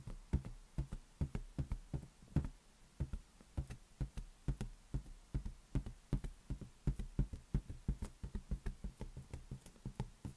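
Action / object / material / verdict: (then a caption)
tap / inflated latex balloon / latex / none. An inflated lime-green latex balloon, hollow and air-filled, rests on a palm while the fingertips of the other hand knock and tap on it. About 31 short, dull, hollow thumps come in an uneven, rapid rhythm, each deep and boomy with almost no ring.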